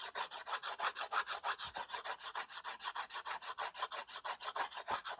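The tip of a white slate pencil, held in the fingers, scribbles across a small, solid, flat framed slate board with dust on its surface. A rapid, steady run of about 33 short, dry scratching strokes rasps back and forth, bright and gritty with no low end. The strokes stop cleanly, with no ring after each.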